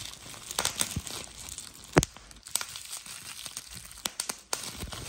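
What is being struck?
Plastic bubble wrap sheet.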